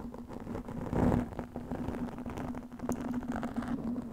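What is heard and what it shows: Long nails scratch over a black, soft, porous foam windscreen covering a microphone. The result is a dense, muffled rustling and scraping over a steady low hum, swelling to its loudest burst about a second in before settling into continuous, uneven scratching.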